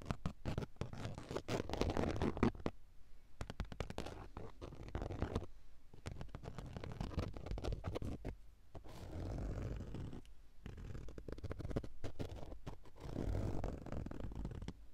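Long acrylic nails scratch across the textured surface of a soft, padded grey woven fabric car seat cushion. The result is a steady stream of quick, muffled scratching strokes, mostly low and soft with little brightness, and brief pauses between bursts.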